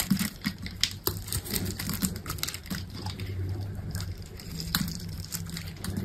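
A metal utility knife blade scrapes and cuts cubes and curls from a grid-scored, solid green bar of dry soap with a yellow coating, resting on a table. It makes a quick, uneven series of short, dry, crisp scratches and clicks with soft low thumps underneath. Each cut stops at once with no ring.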